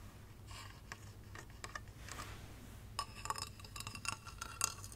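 A small hollow light-up glass Christmas tree figurine, with a base and a star topper, is held up and tapped with long red nails along its ridged surface. Quick, bright clinks and ticks die away almost at once, getting denser and sharper in the second half over a steady low hum.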